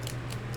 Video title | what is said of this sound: Apothecary Cabinet HOME Collection Banners Painting Tutorial | shake it until you hear the little bead or whatever's inside kind of like a spray paint can activating the paint in there